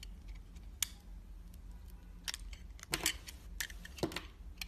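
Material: Soap.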